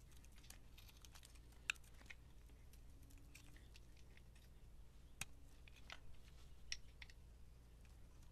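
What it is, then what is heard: Bar of soap being carved. A utility knife blade scrapes thin layers off a solid, hand-sized white bar of soap with a black speckle coating, held in the hand. Soft, crisp scratching and sharp little clicks come at an uneven pace, bright and dry with no ring. A steady low hum sits underneath.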